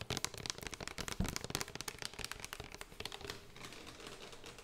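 Long nails tap rapidly and scratch across a small plastic spray bottle with a yellow label and pump nozzle. Sharp, crisp clicks crowd the first three seconds, then give way to a softer, steady scratching rustle.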